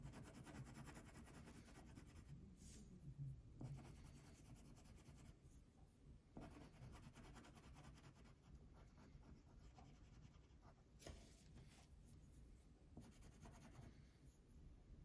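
A purple wax crayon colors a thin paper sheet lying on a table, rubbed in back-and-forth strokes. The result is a quiet, steady scratchy rubbing with a soft low hum and a few brief brighter scrapes where strokes change direction.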